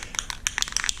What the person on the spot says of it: you hear that marble inside there what that's doing is that's mixing that paint up